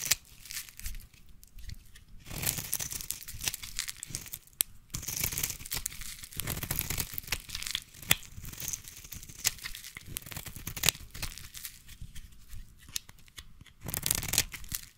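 A solid orange embossed bar of soap, held in the hand, is scratched with scissors and then shaved with a small blade. Dry, bright scraping and crackly, tearing-like shaving strokes come in bursts of varying length. Each stroke stops short with no ring.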